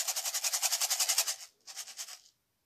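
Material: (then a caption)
Rice. A lidded box with rice inside is shaken back and forth, making a bright, hissy, maraca-like rattle with a fast, even rhythm. A long burst of shaking is followed by a short pause and a second, quieter burst, with music faintly underneath.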